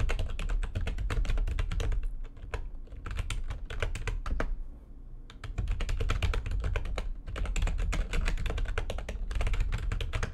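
Fingertips with long nails type fast on the keys of a full-size, low-profile, backlit plastic computer keyboard resting on a desk. Dense, rapid clicking and clacking keystrokes ride over a steady low rumble. Around the middle the typing thins to a few sparse, softer taps before the quick bursts resume.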